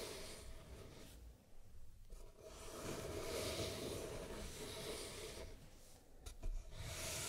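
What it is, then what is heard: Wooden box scratched with fingernails. Long red-painted nails scratch and tap the lid and sides of a small, closed, hollow hexagonal wooden jewelry box painted with mint, black and red stripes and fitted with a brass clasp, its contents not visible. A steady, rough, rasping scratch swells and fades across the surface, broken by short quiet gaps, with brief sharp taps near the end.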